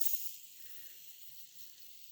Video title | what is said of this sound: Let's talk about nitro engine bearing pullers and demonstrate the Hudy ultimate engine tool kit | it's got some play that's it vibrating and shaking